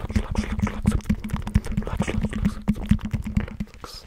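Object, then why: Knobbed EVA foam roller over a hard core. Fingertips and nails tap and scratch the raised knobs of a hollow blue EVA foam roller with a hard tan core, held close to the mic. Quick, dull, dry taps land in an uneven rhythm with soft scratchy textures between them, over a steady low hum. Each tap dies away almost instantly with no ring.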